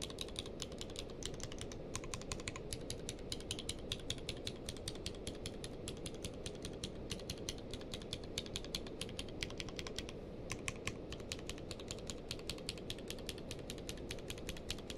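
A grey-blue tenkeyless mechanical keyboard with plastic keycaps is typed on rapidly with one hand's fingertips. The result is a fast, steady stream of short, crisp clicks with bright edges over a low, constant rumble, pausing only briefly now and then.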